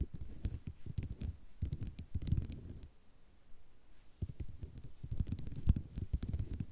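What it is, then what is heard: Ceramic mosaic tile sheet. Long nails scratch and tap on a white ceramic mosaic tile sheet, producing dense clusters of quick clicks and rattles with a low rumbling body and bright ticks on top. Two busy bursts are separated by a quieter stretch of faint scratching in the middle.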